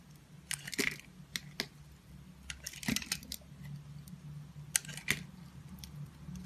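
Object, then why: Bar of soap and knife blade. A utility knife blade scrapes and shaves the surface of a solid, hand-held oval purple and pink confetti bar of soap. Short, crisp, bright scraping crackles come in irregular bursts over a low, steady background hum.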